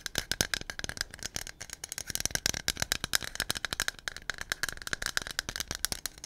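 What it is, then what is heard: Aerosol can with mixing ball. A hollow white aluminum aerosol can with a blue cap and a silver metal base is held in both hands and shaken close to the microphone, its mixing ball rattling inside. The result is a fast, steady stream of sharp, dry metallic clicks that cut off almost instantly, bright and clinking with a tone around 1.7 kHz and little low end.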